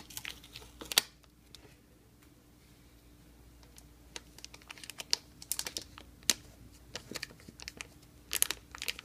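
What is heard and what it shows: Fingertips and nails scratch and crinkle the thin plastic shrink wrap sealing a solid, rigid Blu-ray box set, working over its top and spine. Bright, dry crackles and sharp ticks come in scattered bursts over a faint steady hum, with a loud snap near the start and denser clusters toward the end.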